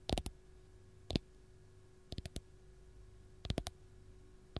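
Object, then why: Whole lemon tapped with fingernails. Long gold nails tap and scratch the peel of a single whole raw fresh lemon, making short, dry clicking bursts in small irregular clusters. Quiet pauses separate the clusters, with a faint steady hum underneath.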